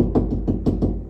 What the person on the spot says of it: solid there's a stud right there